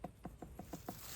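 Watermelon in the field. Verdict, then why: Rotten. Six quick, dull knocks on a watermelon on a dead vine in the garden, each a short low thump near 180 Hz with almost no ring. The melon sounds somewhat hollow, and it has busted open at a rotten spot.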